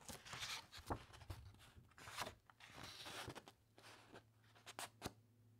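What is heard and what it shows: Fingertips and long nails of both hands rub over the thick, uncoated paper pages of a large open encyclopedia, and then a page is turned. The result is a quiet, dry, bright rustling and scratching with sharp, short crinkles and papery swishes. A faint low hum runs underneath.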